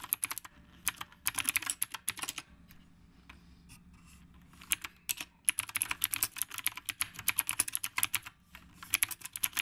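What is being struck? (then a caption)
Mechanical keyboard with round plastic keycaps. Fingertips type continuously on a retro typewriter-style mechanical keyboard with round plastic keycaps. Bright, crisp clicks come in quick bursts, with a quieter pause in the middle before fast typing resumes.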